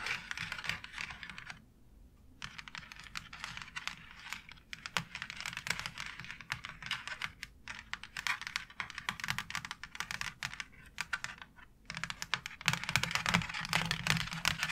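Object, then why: Plastic faux brick wall tile tapped with long nails. Long acrylic nails tap quickly on a white plastic wall tile embossed with a brick pattern, making dense bursts of bright, dry clicks that die away almost instantly. Short pauses break the rapid tapping, which grows louder near the end.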